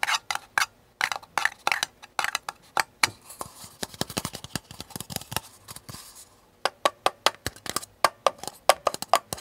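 Fingernails tap and scratch the sides of a small, hollow, empty paper cup with a blue flower print, held tilted and then set upright on a table and picked up again. Quick, dry, clicky taps with a bright papery edge and almost no low end die away instantly, with a softer run of lighter scratching taps in the middle. After a brief quiet gap, sharper taps return.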